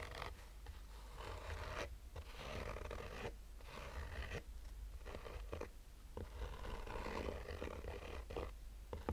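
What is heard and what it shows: A black oval sunglasses case, with textured woven fabric over a rigid hollow shell, is held in one hand and slowly scratched with short fingernails. Soft, raspy scratching strokes come in steady bursts separated by brief pauses, over a low hollow rumble.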